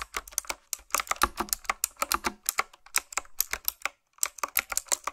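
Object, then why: Mechanical keyboard with round plastic keycaps. Fast typing on a retro-style, typewriter-look mechanical keyboard with round plastic keycaps, struck with long nails and fingertips. The keys give sharp, bright clicks with almost no ring, in quick uneven bursts and a brief pause near the four-second mark.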